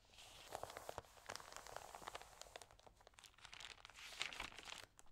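Fingertips and nails rub the damp pages of an open thin paper magazine and turn them. The result is a quiet, steady run of bright, crinkly rustles and crisp crackles with almost no low end, swelling briefly as each page is turned.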